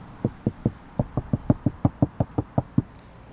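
Knuckles rap 14 times on a Mercedes-Benz A-Class AMG door panel treated with soundproofing, three layers of 3 mm product. Each knock is a short, low, dull thud with almost no ring. The panel sounds solid and dead compared with an untreated panel.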